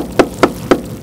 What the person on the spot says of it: ça sonne beaucoup plus plein en fait